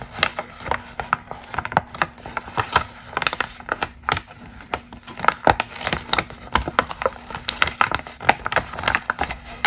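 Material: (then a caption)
Paper. A single thin, orange glossy magazine ad page is held in both hands with long green nails and crinkled, flexed and crumpled. It makes a dense run of sharp, crisp crackles and crinkles with bright, papery highs, each snap dying away almost at once. A faint steady low hum sits underneath.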